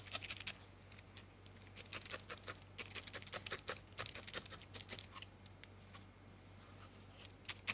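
A small, solid ball of grey-white felted wool, held between fingertips, is poked again and again with a thin steel felting needle, heard up close. Each stab gives a quick, dry, bright scratching crunch, arriving in rapid bursts with short pauses between them. A faint, steady low hum sits underneath.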